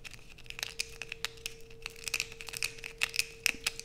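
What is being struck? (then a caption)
Bar of soap. Long white acrylic nails scrape a solid blue bar of soap held in the hands over a black plastic sheet, with shavings falling onto a pile below. A rapid series of crisp, bright scratching clicks and crinkles plays over a faint steady hum, with sharp, dry strikes that stop instantly.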